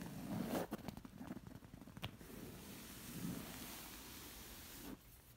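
Long nails scratch across the textured fabric of a woven zigzag bolster pillow, making a dry, raspy scraping with quick strokes and a sharp tick partway through. The scratching then runs as a steady, softer rasp before cutting off near the end.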